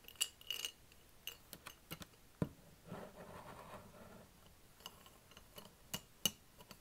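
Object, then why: Glass jar holding plastic markers. A hand-sized clear glass mason jar full of plastic felt-tip markers is held and tilted in both hands and shaken, so the markers rattle against the glass while fingertips grip and tap the jar. The result is a series of short, bright clinks and ticks with little ring, plus a brief softer rustling rattle in the middle.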